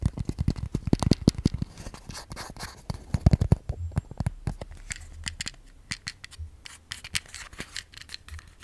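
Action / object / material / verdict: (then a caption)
tap / small plastic case / plastic / none. A small, hollow, white translucent plastic case is held in both hands and tapped and scratched with long fingernails. The result is a rapid, uneven stream of short, dry clicks and taps, heavy in the low end, mixed with light scratchy strokes. Each tap dies away almost instantly.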